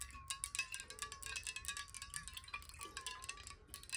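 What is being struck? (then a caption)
Glass water bottle with water. A clear square glass water bottle, hollow and partly filled with water, is tapped quickly with long nails. The result is a rapid stream of bright, clicky taps over a faint, wavering ringing tone near 1 kHz, with brief high glassy accents.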